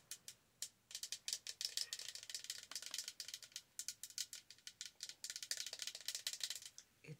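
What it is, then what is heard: Plastic tumbler tapped with nails. A large, hollow, apparently empty Starbucks cold-cup tumbler in holographic and red plastic, with a pink lid and straw, is held in one hand and tapped with long acrylic nails. Rapid bursts of bright, dry plastic clicks follow one another with very short ring and almost no low end, pausing briefly between runs.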